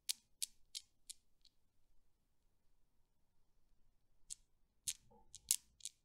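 A hand with long dark nails grips and releases the solid steel balls of a desk Newton's cradle, and the balls knock together in about ten short, bright clicks. Four evenly spaced clicks are followed by a quiet pause of about three seconds, then another cluster of clicks, each dying away almost instantly.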